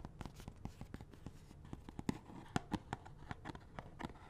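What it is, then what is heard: Cardboard glove box. Fingernails tap and scratch on a small hollow cardboard box of latex gloves with the gloves inside. About twenty short, dry taps with a low, hollow thump sound in quick succession, separated by faint scratchy rustling. The sound is quiet throughout.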